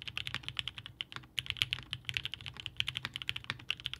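A 65% Haus mechanical keyboard by Hand Engineering, with a blue-grey aluminum case, Gummy Worm mount, polycarbonate plate, linear Inks switches and GMK DMG ABS keycaps, sits on a desk mat. Both hands type steadily with their fingertips, pressing and bottoming out the keys. The result is a dense run of short, sharp, bright clacks centered near 3 kHz, with very little low thump.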